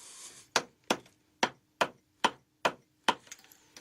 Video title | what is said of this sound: Burghley House 攀爬伟大建筑 | it's becomes Hollow doesn't it starts to ring